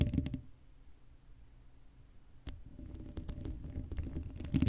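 Long acrylic nails scratch the hollow black metal mesh grille of an uncovered Blue Yeti microphone, with some handling rumble. Dense low, thumpy scratching opens the clip, fades to a quiet rustle, then a sharp click brings it back. The scratching builds into louder, crackly strokes with brief bright ticks toward the end.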